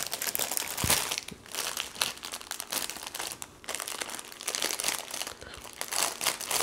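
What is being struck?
Thin plastic packaging bag with paper cards.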